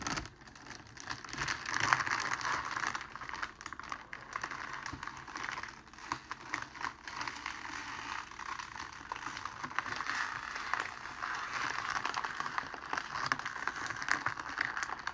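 Fingertips and palms press a thin, clear plastic cellophane sheet flat on a cloth-covered table, then fold and squeeze it, with a rose lying untouched nearby. The result is a steady stream of soft, quick crinkles and crackles centered in the midrange with a bright edge, swelling at the start and growing denser and louder toward the end.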